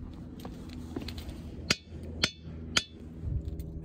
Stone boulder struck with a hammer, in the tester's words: some of them are just clankers so like that and don't really make any sound